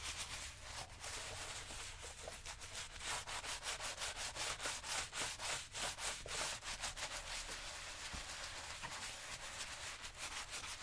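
A worn brown leather lace-up work boot, worn on the foot on a shoe-shine stand, is brushed back and forth by hand with a wooden-handled horsehair brush across the leather upper. The result is a steady run of quick, bright, airy swishing strokes, about three per second, with a soft low rumble underneath.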